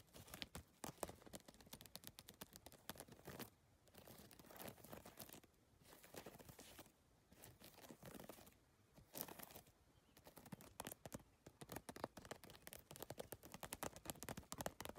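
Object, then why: Handbag with rigid PVC plastic tiles. Long nails and a whole hand rapidly tap and scratch across a hollow holographic geometric handbag made of rigid PVC tiles. The result is a dense, crackly patter of short, dry clicks with brief scratchy, crinkling stretches, quick bursts separated by a few short pauses.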